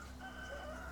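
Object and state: Nothing is struck.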